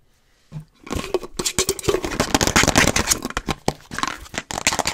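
A hollow, apparently empty frosted plastic Starbucks reusable cold cup with a lid and green straw is rubbed, scratched and tapped with long nails. After a near-silent half second and a faint first touch, a fast, dense run of crackly, bright scratches and sharp taps follows with no pauses, each sound dying out almost instantly.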